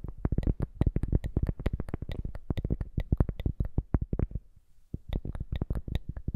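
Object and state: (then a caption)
Cork coaster. A round, thin, solid cork coaster held in both hands is tapped and scratched with long manicured nails in layered sounds. About three dozen quick, dull, low-pitched taps come in a fast run with scratchy texture, then a brief near-silent pause just after four seconds before the tapping resumes.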